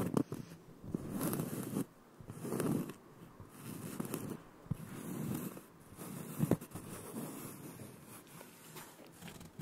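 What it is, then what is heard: Cork board being scratched. A thin, solid, round cork board about 20 cm across is held upright with both hands while fingertips and short nails scratch and rub its textured face. The result is a soft, gritty scratching in repeated bursts, mostly low-mid in tone, with a few sharper clicks from the nails.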